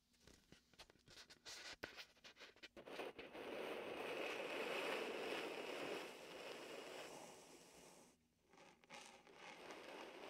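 A palm and fingertips rub and peel across the sticky surface of a large, hollow, air-filled red and white vinyl beach ball held against the side of a binaural microphone. Quick tacky peeling clicks open the clip, then give way to a steady, hissing squeak of rubbing that swells and slowly fades. After a brief pause near the end, crackly rubbing returns.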